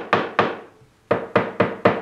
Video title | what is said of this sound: When to Sharpen - Full Version Warts and All - PLANE TALK 7 Feb 2019 | when you move the board it's pivoting on the center that means it's ever so slightly hollow on both ends